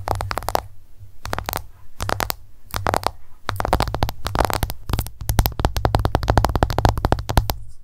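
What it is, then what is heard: Smartphone glass screen tapped with fingernails. An iPhone lies flat on a table while long nails tap rapidly on its glass screen in quick bursts with brief pauses. Each tap is a short, dry click with a soft low thud beneath it, and the sound dies away almost instantly.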